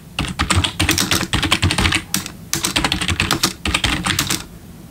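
Steady fingertip typing with both hands on a black plastic RGB backlit computer keyboard. Rapid bursts of bright, crisp key clicks with low thumps come in two runs separated by a short pause near the middle, and each keystroke dies away quickly.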